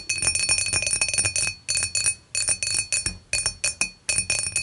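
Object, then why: Glass beer mug. Long matte nails of both hands tap the top of an empty, clear, dimpled glass beer mug lying on its side. Quick bursts of light, bright clinks come in clusters with short pauses between them, each tap ringing briefly at a clear glassy tone near 2.5 kHz with high shimmering overtones and almost no low end.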